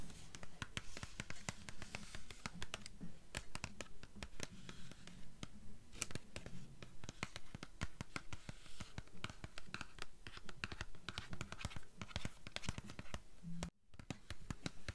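Long nails scratch and tap along the paper dust jacket and spine edge of a *Beautiful Darkness* hardcover book, held at an angle on a table. Dense, quick taps and scratches follow one another with a bright, crisp edge and almost no ring, and the sound briefly drops out near the end.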